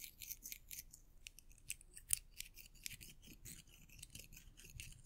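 Several small, solid silver metal coins are held together between the fingertips of both hands, rubbed against each other and clinked together. The result is a quick run of bright, high metallic clicks and chinks with no lingering ring, over a soft, low rustle of handling.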